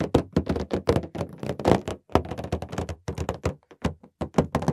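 Fingertips tap a large, inflated green latex balloon, hollow and air-filled, held up. A quick, uneven series of short, dull, hollow thunks sounds, each dying away almost at once, with a soft low body and little brightness.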